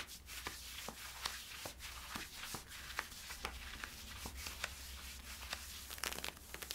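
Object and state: Scratching on polyester-spandex leggings.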